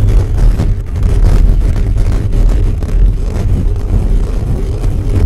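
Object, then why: Metal mesh microphone grille. Fingertips and nails scratch fast and aggressively across a hollow black metal mesh microphone grille. The result is a loud, continuous, dense rumbling scrape concentrated in the deep low end, with almost no high content and a steady level throughout.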